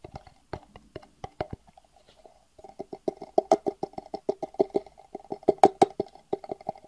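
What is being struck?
Small clear plastic box.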